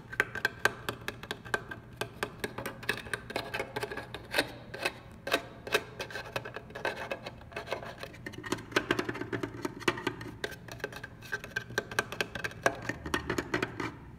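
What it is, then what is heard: Plastic receipt printer. Fingertips and short nails scratch, rub and tap the lid and paper slot of a black, textured, mid-sized hollow plastic receipt printer on a store counter. Quick, dry hollow taps come in dense irregular bursts over soft scratching and rubbing, with a faint steady low hum underneath.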